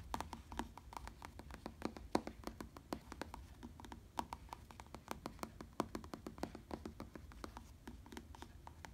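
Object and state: Faux leather bicycle saddle.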